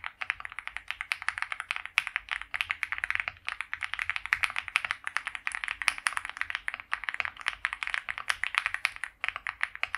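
Both hands type continuously on a white compact mechanical keyboard with PBT doubleshot keycaps, a polycarbonate plate and a foam-filled plastic case, resting on a felt mat. A fast, steady stream of short, crisp key clacks is heard, each dying away almost instantly. The tone is bright and focused in the upper midrange, with almost no low end.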